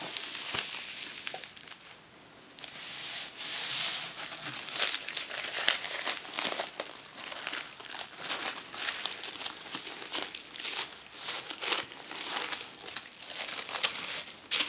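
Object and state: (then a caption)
Tissue paper crinkling. Thin, flat pink tissue paper sheets resting on a lace tablecloth are unfolded and rubbed with fingertips and long nails. They give off a steady stream of soft, bright, papery crinkles and crackles, with almost no low end. There is a brief quieter lull near the two-second mark before the rustling resumes at a fairly even level.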